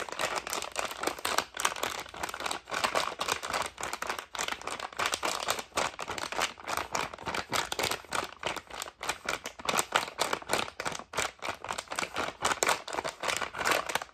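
A full red soft plastic packet of makeup wipes is squeezed and crinkled with the fingers. Dense, bright crackling and crinkling runs steadily throughout, made of rapid short snaps with almost no low end.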